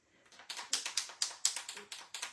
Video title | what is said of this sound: Winter Bliss Scrapbook Layout - Great Color Combo | you can hear that um ball rolling. That means that it's it's um all shaken up.